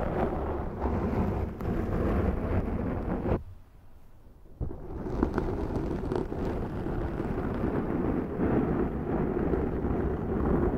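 Long nails on both hands slowly scratch a large black foam windscreen on a Zoom microphone, producing a dense, low, rumbling scrape with a deep booming bottom. The sound drops to a near-silent pause for about a second partway through, then the steady scratching resumes.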